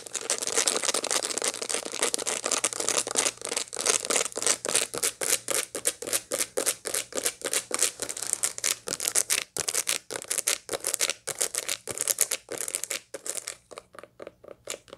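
Long light-blue nails scratch across the seed surface of a dried sunflower head that still holds its seeds. The result is a dense run of rapid, irregular, bright scratchy strokes with a dry crackling texture. The strokes turn sparser and quieter near the end.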